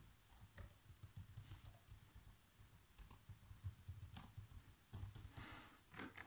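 Fingertips with short nails type fast across the keys of a black plastic chiclet laptop keyboard. Quick, soft tapping clicks run over a low, dull thud, with sharp bright key strikes standing out now and then. The overall level is quiet and dominated by low frequencies.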